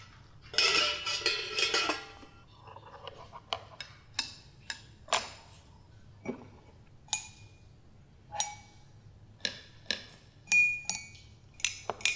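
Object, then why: Metal spoon and drinking glass. A metal spoon is tapped against a drinking glass, giving high, sharp clinks centred near 2.7 kHz that die away almost at once. A fast flurry of taps opens the clip, followed by single, spaced-out taps with a slightly longer ring near the end.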